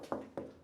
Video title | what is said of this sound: 화장실 인테리어 1개에 190만원이면 합니다ㅣ인테리어 업체가 돈 벌 수 밖에 없는 이유 | 타일 은 지금 모두 잘 붙어 있어 요